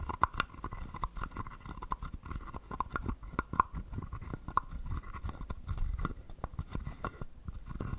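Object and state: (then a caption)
Wooden frog guiro. A small hollow carved wooden frog guiro is held in the hand while a wooden stick scrapes and taps its ridged back. Many quick, dry clicks and rasps run steadily through the clip, with a hollow woody tone and occasional sharper taps.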